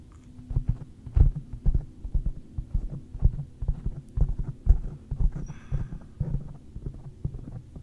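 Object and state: Foam microphone windscreen being tapped.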